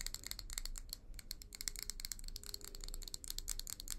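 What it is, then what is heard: Glass tumbler. Long nails tap and scratch fast on the outer wall of a small hollow amber glass tumbler with a leopard print, held in both hands. A dense stream of crisp, rattling clicks with bright, high glassy pings sits over a steady low rumble, with little ring after each tap.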